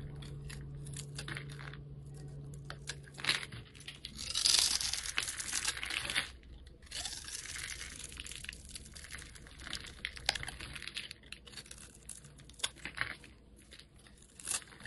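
A metal blade scrapes shavings off the face of a solid red oval soap bar, producing dense, bright, crackly scratching with a faint low hum at the start. The scraping swells into a louder, rougher stretch in the middle, then settles back into steady, finer crinkling strokes.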